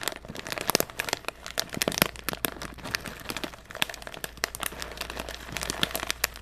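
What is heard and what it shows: A small printed foil-lined plastic snack bag, apparently sealed with contents inside, is held in one hand near the microphone and crinkled and squeezed by the fingers. It gives a dense run of sharp, bright crackles and crunches with very short decay over a faint low steady hum.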